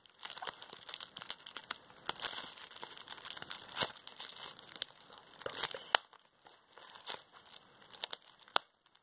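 A bunched piece of clear plastic bubble wrap is held in both hands while fingertips and long nails pinch and squeeze the bubbles. The result is a steady, bright, papery crinkling broken by sharp, dry pops that stop instantly, with almost no low end.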